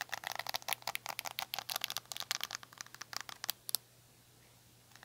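Long nails scratch across the dense, short bristles of a black handheld rubber-bristle detangling brush, making a quick run of crisp, bright scratching and crinkling clicks. The scratching stops just before four seconds, leaving faint background hiss.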